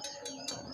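A steel sickle blade is struck four times, each strike giving a clear, high ringing tone over a steady sustained ring, the sign of a good blade.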